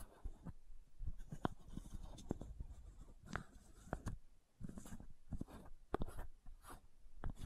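Long nails scratch the ridged cap of a white plastic supplement bottle held sideways. The result is a quiet, dry rasping with repeated sharp clicks and ticks, mostly low and dull with brief bright flecks, and each tick stops almost instantly.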